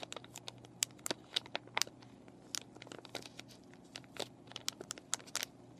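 Fingernails scratch and fingers crinkle a plastic-and-cardboard paintbrush package, its clear plastic packaging with brushes inside. Bright, dry crackles and sharp scratches come in irregular bursts, each snapping off with no ring, over a faint steady low hum.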